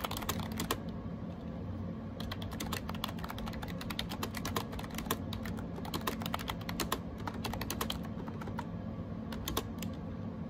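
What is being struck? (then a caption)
Plastic keyboard keys. Fingertips type on a gray plastic AJAZZ 308i wireless Bluetooth keyboard with round keycaps, resting on a desk. Rapid, sharp, bright key clicks come in quick bursts, with a short pause near the start, over a steady low hum. Each tap dies away almost instantly.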